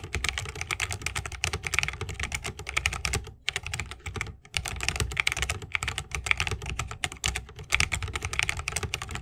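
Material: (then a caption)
Plastic, wood. Fingertips of both hands type fast on a 60% mechanical keyboard with plastic keycaps on tactile Holy Panda switches, set in a solid bamboo wooden case with RGB lighting and resting on a wrist rest. A dense stream of crisp, bright, short keystroke clacks with a soft low thump underneath pauses briefly twice before the rapid typing resumes.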